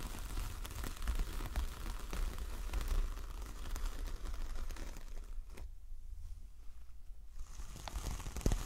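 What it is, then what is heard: Coconut coir door mat, scratched. Long acrylic nails scratch and tap the bristly surface of a large, flat coconut coir fibre door mat with a dark star print, lying on a fluffy surface. Dry, crinkly scratching and crackly taps run steadily, ease into a quieter stretch for a couple of seconds, then return with a few sharper taps at the end.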